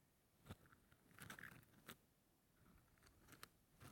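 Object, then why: Wooden toothpicks in a plastic holder. A fingertip brushes and scratches across the tips of wooden toothpicks packed full in a small yellow plastic cylindrical holder, held close in one hand. Quiet, dry crackling scratches are broken by a few sharp, bright ticks, with a brief raspy flurry around 1.3 kHz in the middle.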